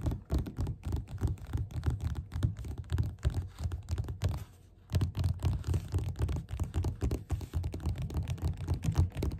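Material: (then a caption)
Paper. Fingerpads of both hands tap fast on the beige paper cover of a solid, closed paperback book lying flat on a table. The result is a dense, uneven stream of soft, low, dull thuds with almost no ring, broken by a brief pause near the middle.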